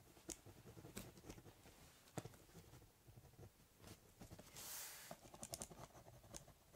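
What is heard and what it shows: A ballpoint pen draws quick, scratchy strokes across the top of a large corrugated cardboard box. Soft, dry scratching runs throughout, broken by sharp, bright ticks as the tip meets the board. Near the end, a longer hissing scrape leads into a flurry of quick clicks.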